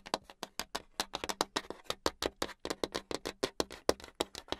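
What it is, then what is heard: Hardboard clipboard tapped with long nails. Long acrylic nails tap rapidly on a flat, solid brown hardboard clipboard, producing a fast, irregular stream of about thirty sharp, dry clicks. Each click dies away almost at once, with a midrange body and a bright top.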